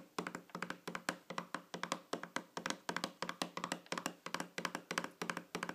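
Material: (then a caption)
Metal. Long fingernails tap on the top of a small, shiny, round metal tin or lid lying flat on a table. The result is a quick, uneven run of short, bright, clicky taps with a faint metallic tone that dies away almost at once after each hit.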